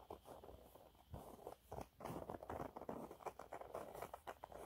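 Fingernails scratch quickly and lightly across a yellow waffle-textured cleaning cloth held upright, making a soft, dry pattering. Short bursts of rustling friction repeat in uneven clusters, mostly in the low mids with little bright edge, and the faint close sound fades quickly between strokes.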